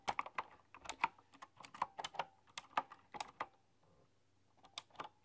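Fingertips with long, dark-polished nails tap and type on a full-size, typewriter-style computer keyboard with hollow keys and round, chrome-rimmed keycaps. About nineteen sharp, bright clicks come in an irregular rhythm, each with a quick, hollow clack, followed by a short pause before a few more taps.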